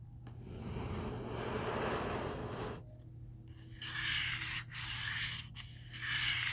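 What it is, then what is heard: Hardcover book cover rubbed and scratched. Fingertips rub and scratch the front cover of a large, closed black hardcover comic omnibus of Marvel's "The Eternals," making a broad, dry scraping that swells and then fades. After a brief lull, the solid book is turned and its spine is rubbed in short, bright, hissy strokes, while a steady low hum runs underneath throughout.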